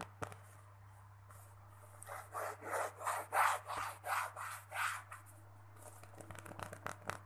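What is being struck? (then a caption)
Small stuffed pillow with cotton fabric cover. Fingertips and short nails scratch and rub the printed cotton-like fabric cover of a small, soft stuffed mini pillow with a pink cartoon and floral print, held close. A run of brushy, scratchy rubbing strokes swells and fades from about two to five seconds, with light ticks near the start and end over a steady low hum.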